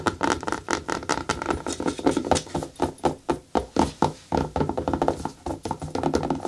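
Long nails tap the shaft of a single hollow, empty black natural rubber boot, then scratch its treaded sole. Quick dull taps with a midrange tone and very short decay give way to dense, crackly scratching with a bright edge.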